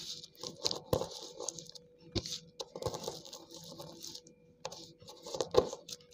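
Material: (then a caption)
Slate. Water-soaked slate pencil pieces on a tiled floor are pounded and crushed with the end of a dark green cylindrical tool held in the hand. Sharp taps mix with gritty, wet crunching and bright crumbling hiss over a faint steady hum. The pieces break down into crumbly paste and chunks.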